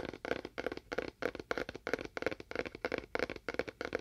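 A small, hollow, empty rectangular cardboard box with a faux wood-grain print is held in both hands, moved to one side of the mic, and tapped with fingernails. The result is quick, dry clusters of hollow taps with a mid-pitched knock around 465 Hz and almost no ring, repeating in a loose, uneven rhythm.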